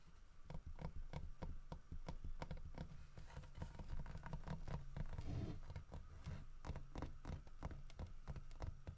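Fingertips and nails tap quickly across the snout, head and sides of a solid carved wooden bear statue holding a fish. The result is a steady patter of dull, low knocks with short, bright clicking edges, each tap dying away almost instantly.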